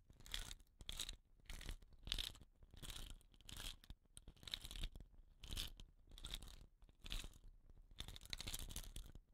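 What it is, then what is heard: Bamboo rain stick rubbed on cloth. Fingers rub and roll a hollow, painted bamboo rain stick with rattan caps on both ends across a cloth. The result is a steady series of short, bright, scratchy rustling bursts, each peaking around 3.6 kHz, separated by quiet low rumbling gaps.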